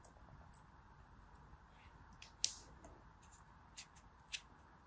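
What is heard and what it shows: A small, flat, yellow plastic mold shaped like a flower or animal, packed full of teal kinetic sand, is held in both hands while its surface is pressed and rubbed with fingertips and short nails. It makes a quiet, bright, gritty rustle with three sharp, short clicks standing out above it, the loudest near the middle of the clip.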